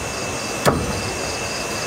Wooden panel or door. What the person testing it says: saya tepuk kayu kan, ada dengung dia kan